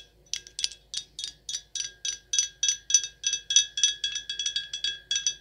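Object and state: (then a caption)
Glass wine bottle. Long acrylic nails tap quickly and unevenly on a full, sealed, dark glass red wine bottle with a paper label. Each tap is a bright, sharp click carrying short, high, glassy ringing tones that fade almost at once.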